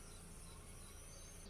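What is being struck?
Nothing is struck.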